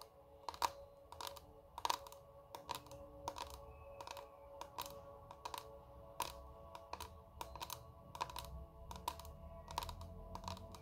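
A small square clear plastic makeup compact with shimmery contents is held in both hands and tapped rapidly with long red nails. Quick, sharp, clicky taps of uneven loudness come in irregular bursts over a faint low rumble and steady mid tones.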